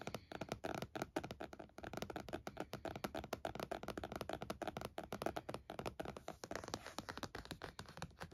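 Fingertips and nails of both hands tap rapidly on the lid of a closed laptop in a purple plastic snap-on case with stickers, lying flat on a towel. The taps are quick, dry, hollow plastic clicks and thuds with a midrange tone around 660 Hz that die away almost instantly. They come in a steady, dense patter throughout.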